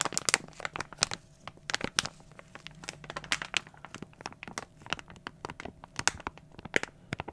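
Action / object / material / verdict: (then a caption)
scrape / plastic foil blind bag / plastic foil / none. A small glossy plastic foil toy blind bag is crinkled with fingertips and squeezed in both hands. It makes a steady run of sharp, bright crackles and crinkles with very little low end, and each snap dies away almost instantly. The sound stays quiet and close throughout.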